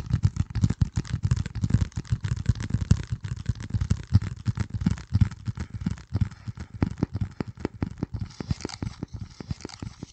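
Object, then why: Corrugated cardboard piece. Fingertips tap and scratch a flat, hand-sized piece of dark corrugated cardboard, its corrugated edge visible, held close to the microphone. Dense, soft, low thumps with a faint scratchy rustle run throughout, each tap dying away almost instantly. The taps grow sharper and more spaced out toward the end.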